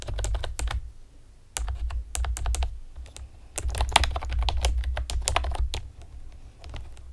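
Long painted nails and fingertips rapidly tap the hollow round retro keycaps of a pastel plastic typewriter-style computer keyboard. Quick bursts of sharp, bright clicks and clacks come in uneven runs with brief pauses over a low steady hum.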